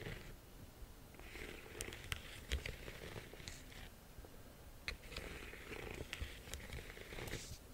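Long nails tap on the front of a small, hollow, yellow embossed faux leather flap bag. The taps come as sharp, bright clicks scattered over a soft, low, scratchy rustle.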